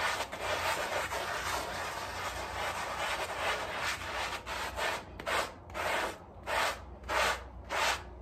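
A gloved hand scrubs a small, wet, soapy fabric rug on tile with a handheld bristle brush in circular motions. For about five seconds the bristles make a dense, continuous rasping hiss that reaches into the high range. It then breaks into separate, rhythmic brush strokes with short pauses between them, over a faint steady low hum.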